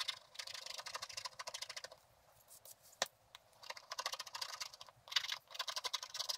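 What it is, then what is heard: Scratch-art paper board being scratched. A wooden stylus stick scratches away the remaining black coating on a flat scratch-art card, revealing the gold beneath. Quick bursts of bright, dry scratching come in runs, with a quieter pause in the middle broken by a couple of sharp ticks, before the scratching picks up again.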